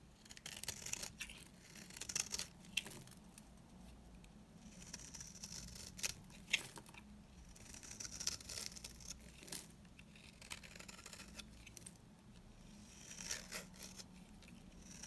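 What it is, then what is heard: Dry bar soap being shaved. A blade shaves curls and crumbs off the surface of a dry, solid yellow bar soap, giving bright, dry scraping and crackling strokes in repeated bursts. Quiet low hum sits underneath the crisp, short-lived scrapes.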